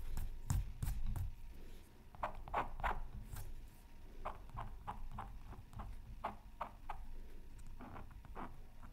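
A thin wooden stylus scratches fine strokes into the coating of a flat, black-coated scratch art paper sheet from a Mythical Creatures Super Scratch Art Pad, resting on a silicone mat. Short, dry, irregular scratching strokes come in quick succession over a low, steady background rumble.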